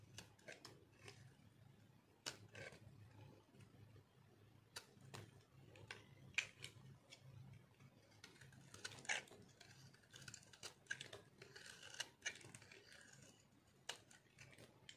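A metal blade cuts into and scrapes the surface of a solid, dry orange soap bar. Many short, bright crunching clicks and scratchy scrapes come in irregular bursts over a faint low hum, with the hits clustering more densely in the second half.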